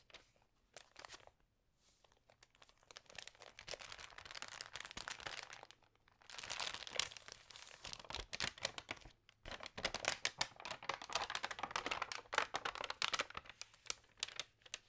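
Long nails and fingertips rub and turn the glossy pages of an Allerhande paper magazine, making dense, bright crinkling and papery rustles in bursts. Near-silent gaps separate the bursts, which thicken into nearly continuous scraping toward the end.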